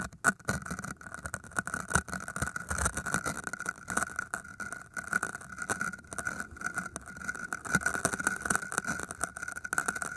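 A thin metal wire or pin held in the fingers pokes and scratches into the surface of solid green floral foam cylinders. The result is a dense run of crisp, crackly scratches and small pokes over a faint steady tone around 1.4 kHz, with brighter bursts where the pin digs in harder.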